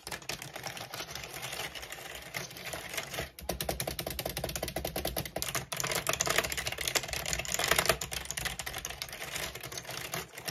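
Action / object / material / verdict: tap / plastic computer keyboard / plastic / none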